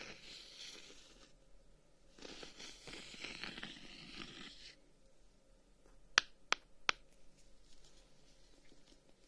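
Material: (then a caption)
Wood. Fingertips scratch along the reddish-brown wooden guards of a closed, handheld folding fan, making dry, bright rasping bursts. Three sharp, crisp taps on the wood follow, each dying away almost instantly against a quiet background.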